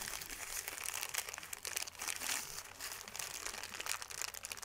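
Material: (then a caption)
Paper. A thin white paper sheet is crumpled and squeezed in both hands, giving a continuous, dense crinkling and crackling with many quick, bright snaps. The sound sits almost entirely in the high range with very little low end, swelling and easing in waves as the paper is worked over.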